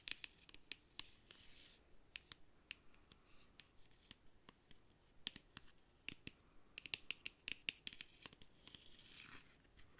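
Fingernails tap and scratch on a flat, hand-sized, hollow black plastic makeup palette case. Around thirty sharp, bright clicks come quickly and die out at once, between softer hissing scratch swells. The whole clip stays quiet and high-pitched, with very little low end.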